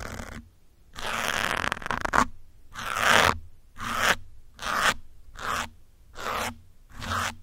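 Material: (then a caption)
Foam. Metal pins scratch across a grey foam windscreen on a black microphone, producing eight separate bursts of close, rough scratching with short silences between them. The scratches are broadband and airy, centred around 1 kHz with bright, hissy highs, and each stroke swells and fades without ringing.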